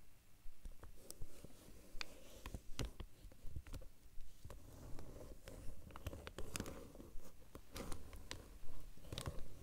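Fingertips and short nails tap rapidly and scratch across the flat surface of a large, dark, glossy vinyl or plastic binder cover laid over papers. Quiet, dull low taps mix with sharp, brief clicks and soft scratchy rustling in an uneven, fairly quick rhythm.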